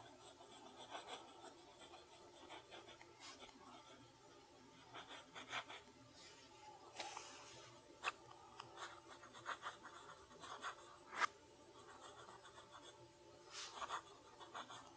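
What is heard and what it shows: A steel fountain pen nib scratches across a flat lined paper sheet resting on a wooden desk while writing cursive. The clip is a quiet, continuous, bright scratching made of short strokes, with a few sharper ticks standing out and almost no low end.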